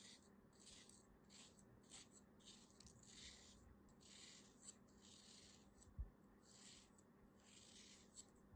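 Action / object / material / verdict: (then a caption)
scrape / molded kinetic sand shape / kinetic sand / none. A small black blade slices and scrapes grooves into a solid, hand-sized, beige molded kinetic sand crab held in the palm. Soft, grainy, bright scraping swishes repeat in a steady rhythm over a low, quiet hum. A few faint clicks and one sharper tap stand out near the end.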